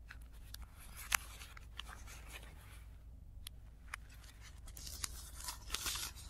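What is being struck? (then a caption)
Thin tissue paper sheets. Fingers roll, fold and rub the lower edge of a stack of thin, crinkly blue tissue paper sheets resting on a dark cloth, with the sound played in reverse. Soft, bright crinkling and rustling runs throughout, broken by a few sharp crackles, over a steady low hum. The rustling briefly drops out near the middle and grows denser toward the end.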